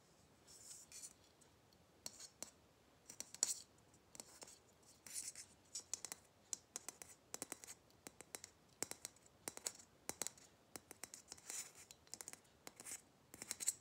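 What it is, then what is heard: Plastic Christmas bauble. A small hollow red matte plastic Christmas ball ornament with a metal cap and hanger is tapped and scratched with fingernails. Quick, bright, dry clicks and scraping bursts come in uneven clusters, almost all high-frequency with no low body and no ring.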